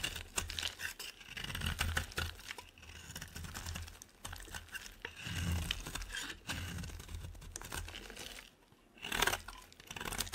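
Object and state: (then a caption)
Bar soap being shaved. A utility knife blade shaves a solid rectangular white bar of soap held in one hand, peeling off curls that pile up beside it. Crisp, crunchy scraping and cutting strokes repeat steadily, with a soft low thump under them. There is a brief quiet pause near the end before one last louder scrape.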